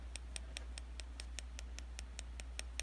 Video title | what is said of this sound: DIY Dip Powder At Home - Dip Nails - How To | you want to wait until you can hear that like tapping like clicking noise before you start filing